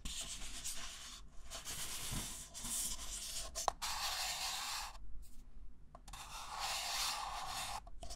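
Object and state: Paper cup being scratched.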